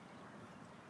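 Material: Nothing is struck.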